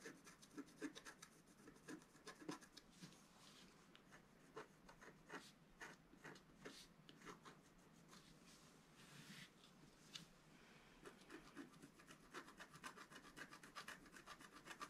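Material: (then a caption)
Coated paper. A wooden stylus scratches near the top edge of a flat scratch art paper sheet held down by one hand. It makes a quiet, dry rasping and rubbing sound in quick short strokes, with bright scratchy edges over a low body around 270 Hz.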